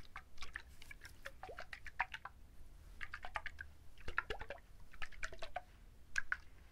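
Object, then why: Whole coconut with fibrous husk. A whole coconut with its fibrous husk on is held in both hands close to the microphone while fingertips and nails quickly scratch and tap the husk. The result is a dense run of dry, crackly scratches and soft, short taps with brief mid-to-high clicks in uneven bursts over a faint low rumble.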